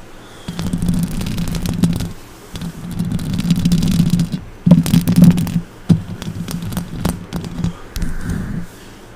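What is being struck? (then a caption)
Metal mesh microphone grille. Long orange acrylic nails scratch the hollow metal mesh grille of a silver condenser microphone with both hands. The result is bursts of low, rumbling scraping around 160 Hz, with sharp clicks and faint bright ticks on top. Pauses between the bursts drop to quiet hiss.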